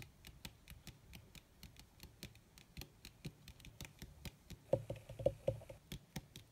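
Long red nails tap fast on a crumpled black leather sheet, possibly faux leather, producing about 31 quick, dry taps at an uneven pace. The quiet, soft thuds have brief bright clicks and almost no ring, and a few louder taps near the end carry a short mid-pitched knock.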